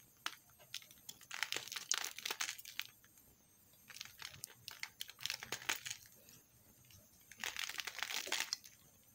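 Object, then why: Bar of soap scraped by a metal knife. A metal knife scrapes along the edge of a thin slab of pink soap held in the fingers, shaving off crumbly flakes. The sound is a bright, dry, crinkly scraping that comes in three bursts of rapid, crumbling strokes separated by short quiet gaps.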